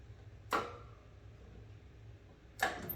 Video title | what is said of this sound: Comfort Gear Double Tank Portable 360 Degree Indoor Outdoor Propane Heater PPH360-18 | you can hear that switch it makes just a a knocking noise